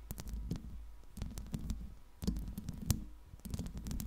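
Long pink acrylic nails scratch and tap across the hollow metal mesh grille of a Blue Yeti microphone. The result is a close, low, muffled rumble of scraping with sharp clicks, swelling in short bursts.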